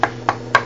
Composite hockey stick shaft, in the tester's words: now it sounds more firm